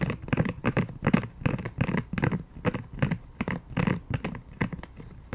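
A pink silicone scalp massager brush, turned to its dotted side and held in both hands, is scratched and tapped with long painted nails. The result is a quick, uneven run of soft, dull scratching and tapping bursts, mostly low in pitch with little ring after each touch.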